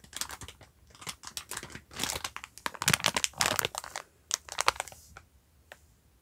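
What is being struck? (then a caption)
Sponge pack in plastic film. A yellow sponge pack wrapped in clear plastic film with a black cardboard label is held and crinkled with the fingers, then brought close to the microphone at the end. Dense bursts of sharp, bright crinkling and crackling come in quick uneven clusters, with little low-end weight. Brief quiet gaps separate the louder flurries.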